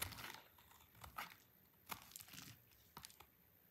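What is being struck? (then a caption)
Soap bar cut with a blade. A solid, dry orange soap bar held in the hand is cut into thin shavings with a utility knife blade. Short, dry, crunchy scrapes and crackles with bright high-end grit come in irregular bursts, separated by quiet pauses.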